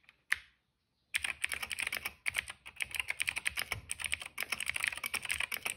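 Fingertips type on a cream plastic mechanical keyboard with black and purple keycaps and a hollow case. A single sharp click is followed by a brief silence, then a rapid, continuous run of bright, clacky keystrokes centered around 2 kHz with very little low end.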